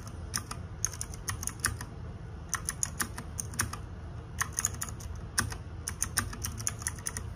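Fingertips and nails type on the plastic keycaps of a small RGB-backlit 60% mechanical keyboard. Bright, sharp clicks come in quick bursts separated by short pauses. A steady low hum sits underneath throughout.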